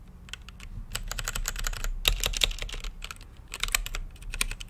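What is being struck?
Plastic mechanical keyboard keys.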